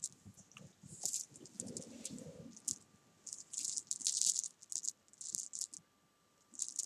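A row of small solid jelly beans on a fabric sofa is rolled and swept with fingertips and long nails. The result is a bright, dry rattle of quick clicks in uneven bursts with short gaps, almost no low end, and a faint steady tone underneath.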